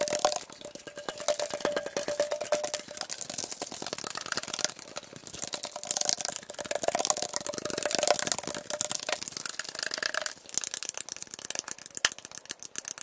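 A metal Arizona iced tea can is tapped and scratched quickly with the sound sped up to double speed. The result is a dense stream of rapid, bright clicking and scratchy rustle, with a faint metallic ring around 600 Hz and almost no low end.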